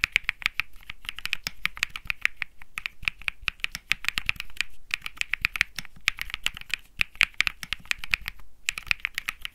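Fingertips type steadily on a compact Think 6.5 mechanical keyboard with Bsun Lollipop switches, an aluminum case, a PC plate and plastic keycaps. The rapid keystrokes sound crisp and bright, each centered around 2.3 kHz with almost no ring. They run in continuous streams with a few brief pauses.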